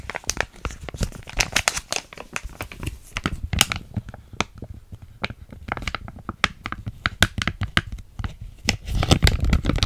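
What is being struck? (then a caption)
Small filled plastic foil sachet. A small, flat, sealed plastic foil hair mask sachet (PS Biotin), still filled, is held in both hands and crinkled and scratched with long nails close to the microphone. Dense crackling crinkles and sharp, bright scratches fall in quick, uneven bursts over a soft low rumble. The texture grows busier and louder near the end.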